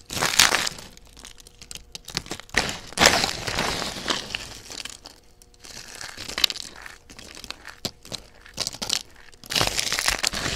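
A hand with long dark-red painted nails crushes and crumbles a pile of thin, dry, pale yellow-and-white soap shavings between its fingertips and palms. The solid, brittle flakes give off dense, bright, crisp crunching and crackling. The loudest bursts come at the start, around three seconds, and near the end, with quieter crinkling in between.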